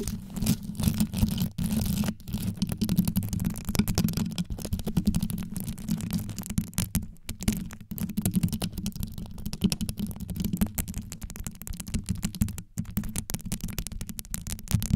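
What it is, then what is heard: Rhinestone-covered microphone grille. Long yellow nails tap and scratch quickly on the rhinestone-studded grille of a black condenser microphone. The result is a dense, continuous stream of deep, boomy scratching and rapid tapping, heavy in the low end with only faint bright detail, and brief pauses near the middle and end.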